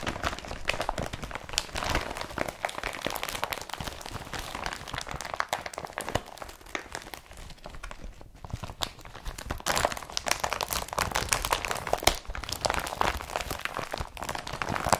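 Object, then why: Woven polypropylene carrier bag. An empty blue IKEA BRATTBY carrier bag made of woven polypropylene, with its straps visible, is crinkled with both hands. It makes a dense, continuous crinkling and crunching with bright, crackly texture and a midrange body. The sound eases off briefly around the middle, then grows louder again toward the end.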